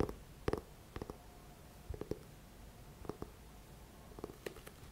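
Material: Paper card.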